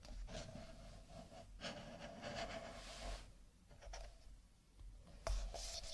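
A stack of nested empty paper cups is held sideways, then stood upright and handled with the fingertips of fingerless-gloved hands, tapping and rubbing the cardboard. Soft, dry scratching and brushing sounds continue over a low rumble, with brief dips in level. A sharper, brighter tap near the end lifts the level before the rubbing continues.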